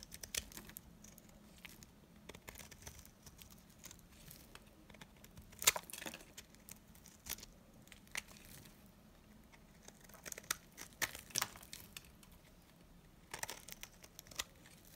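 A blade shaves brittle flakes off a solid, dry green bar of soap, making quiet, bright crackling scrapes and crisp snapping ticks at irregular intervals. The short, dry bursts die away almost instantly over a faint, steady low hum.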